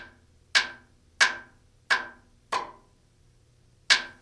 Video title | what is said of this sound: RotorWay Título 1 | the sound changes from a solid to hollow sound as demonstrated here by tapping away from The Spar